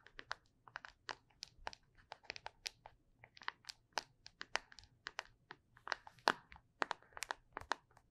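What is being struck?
Small plastic tub.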